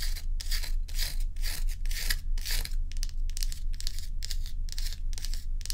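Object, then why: Large block of ice. Long acrylic nails scratch and rub the frosty face of a large solid block of ice held tilted. A fairly steady run of bright, rasping scrape strokes, about two per second, sounds over a constant low hum.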